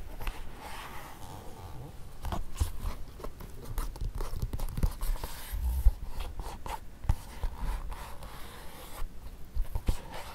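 Fingertips and nails tap and scratch the lining and glossy toe of a single empty black leather court shoe resting on carpet. The taps are soft, dull and hollow, with irregular short knocks and brushing scratches that die away almost instantly.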